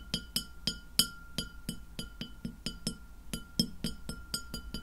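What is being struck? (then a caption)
Glass plate. Long fingernails tap a white glass plate lying flat near the mic, making 17 quick, bright clicks with a short high ring after each. The taps come at an uneven pace over a faint steady background tone.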